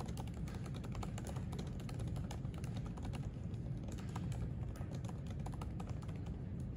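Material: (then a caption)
Plastic. Fingertips type densely on the plastic keys of a silver aluminium MacBook keyboard resting on a white desk. A steady stream of soft, quick key clicks runs over a constant low rumble that fills most of the sound.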